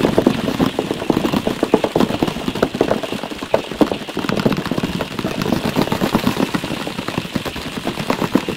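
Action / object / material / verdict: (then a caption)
tap / cardboard tissue box / cardboard / none. A medium rectangular cardboard tissue box with a geometric print and an oval side opening, hollow and likely partly filled with tissues, is held in one hand beside a furry windscreen microphone. It is tapped rapidly with the fingertips and nails of the other hand. The result is a fast, continuous flurry of short, hollow, papery knocks with a mid-low body and quick decay, possibly with added echo.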